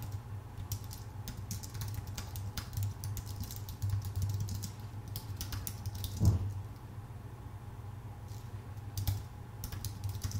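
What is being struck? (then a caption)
Aluminium-and-plastic computer keyboard. A full-size white Apple Magic Keyboard with numpad, a thin aluminium base with plastic keycaps, rests on a dark desk and is typed on steadily with the fingertips of both hands. Quick, light key taps give a stream of short, bright clicks over a steady low hum, with a slightly heavier tap just past six seconds.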